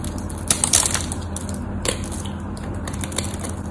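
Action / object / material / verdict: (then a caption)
scrape / bar of soap / soap / none. A craft knife carves the scored face of a solid cream-colored bar of white soap, and crumbly pieces break off. Dry, bright crunching and scraping sit over a steady low hum, with the sharpest crackles early in the clip and a few more near the end.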